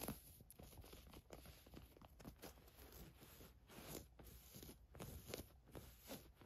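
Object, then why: Ribbed stretch knit fabric top. Long nails scratch and rub a black ribbed stretch knit tank top with thin straps, lying flat on a fur rug. The result is a quiet, continuous run of soft, scratchy rustling strokes with a bright fabric hiss over a low, muffled rumble.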